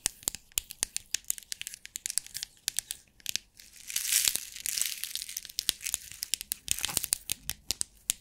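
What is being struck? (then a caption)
Clear plastic compartment box with beads. Long nails tap and scratch on a small clear plastic bead organizer box held close to the mic, making a dense run of sharp, bright clicks with almost no low end. Around the fourth and seventh seconds the box is shaken, and the beads rattle in a hissy wash between the taps.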